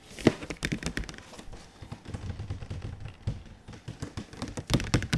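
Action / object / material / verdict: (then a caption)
tap / printed cardboard box / cardboard / none. Fingertips tap quickly on the flat, glossy faces of a large printed cardboard console box, held overhead and then in front. The taps are short, dull and hollow, weighted toward the low end, and die away at once with no ring. A brief louder flurry near the start and a cluster of firmer taps near the end frame softer, lighter tapping in between.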